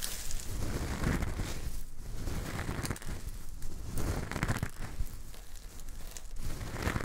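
Fingertips scoop, squeeze and rub handfuls of loose, coarse pink Himalayan rock salt crystals, making the grains trickle and crunch between the fingers. A dense, continuous gritty crackling and rustling swells and eases in waves, heavy in low rumble with faint bright grit on top.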